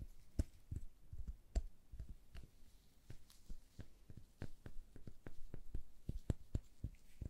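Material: Plastic.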